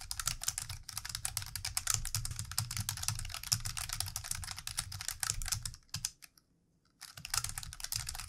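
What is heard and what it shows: Fast typing with the fingertips of both hands on a plastic computer keyboard produces a dense stream of bright, sharp clicks over a low hum. The tapping runs steadily, stops for about a second near the end, then resumes.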